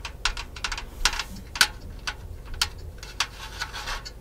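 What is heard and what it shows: Long nails tap and scratch the painted metal robe of a cat figurine held close, giving a run of quick, bright clicks with short scraping strokes in between. Each tap is sharp and dies away almost at once over a faint low hum.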